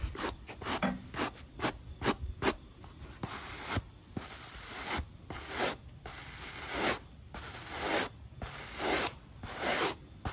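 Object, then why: Rubber shoe sole scrubbed with a bristle brush. A black textured rubber sneaker outsole, held in hand, is scrubbed with a pale natural-bristle brush. A series of short, dry, bristly brushing strokes rise and fall in loudness, each a bright, broadband rasping hiss with little low end and no ringing between strokes.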